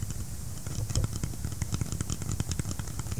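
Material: Polymer.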